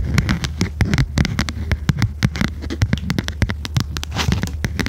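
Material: Cardboard.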